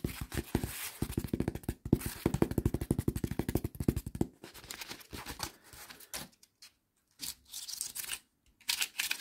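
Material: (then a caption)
Cardboard. Fingertips tap and scratch the face of a light, flat brown honeycomb-core cardboard panel with hollow cells, and strum along its exposed honeycomb edge. The first four seconds are a fast, dense run of dull, hollow taps. Then come sparser, scratchy bursts separated by short silences.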